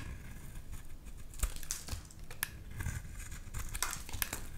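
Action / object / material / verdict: scrape / bar of soap shaved with a knife blade / soap / none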